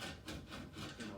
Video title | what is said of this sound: Next Level Challenger Cockpit Shake Test | adjustable bars that makes some noise because there's some room in between them